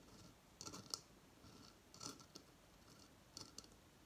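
Fingertips and long fingernails tap and click on a hollow, dried, fibrous coconut shell hamster hideout resting on a coconut stand on a table. The taps come in three short clusters of bright, dry clicks that stop almost instantly, with quiet pauses between them.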